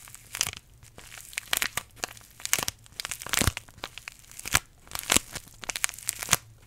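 A small green-and-white paper tea bag envelope is held in both hands in front of a microphone while fingertips crinkle and squeeze it. Irregular bursts of dry, bright crackling and crunching rise over a quiet, faint low hum, with brief gaps between each squeeze.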